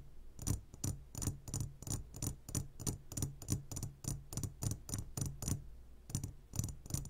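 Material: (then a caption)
Glass. Fingertips of both hands tap on a clear glass jar full of gummy candies, producing a quick, uneven run of soft, bright taps that die away almost instantly. A steady low hum sits underneath the tapping.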